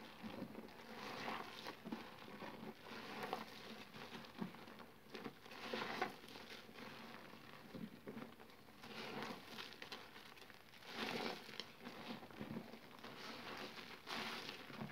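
Hands scoop, squeeze and crush handfuls of wet, foamy, mushy green soap paste in a blue basin. Soft squelching and crackly, crinkling squishes come in uneven bursts, with brighter wet smacks over a quiet, faint background.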